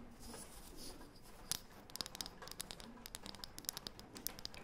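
Long painted fingernails scratch and tap rapidly on a thin, round, light, solid wooden disc. A soft, hissy scratching opens the clip, then gives way to a quick, uneven series of sharp, bright clicks. Each click dies away almost instantly over a low, steady background.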